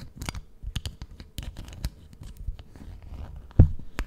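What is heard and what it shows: Long painted nails scratch and tap on the cover of a book-sized, solid brown leather (possibly faux) notebook with a metal clasp, held close in front of the mic. Short, dry taps and scratchy strokes come in quick irregular bursts over a low, muffled body. A louder, thumpier tap stands out near the end.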